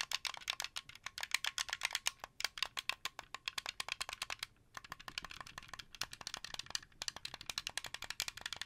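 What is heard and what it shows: Fingernails and fingertips tap rapidly on the buttons and thumbsticks of a translucent blue, hollow plastic Xbox 360 controller. The result is a steady stream of dry, bright, rattly clicks with almost no low end and a brief pause midway.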